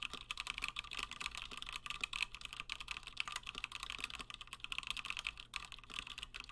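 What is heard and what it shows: Fingertips of both hands type continuously on a Gingham 60% plateless mechanical keyboard with Gateron Black switches and cream and blue PBT plastic keycaps. A steady stream of quick, bright clacks centers around 2.5 kHz, with each keystroke dying away almost instantly over a faint low hum.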